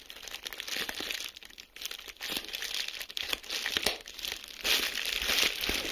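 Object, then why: Plastic bubble wrap sheet. A clear plastic bubble wrap sheet is crumpled and squeezed between the fingertips of both hands, making dense crinkling with sharp pops of air bubbles. The sound is bright and crisp, almost entirely high-pitched with very little low end. The short, dry snaps come in irregular bursts over the steady rustle.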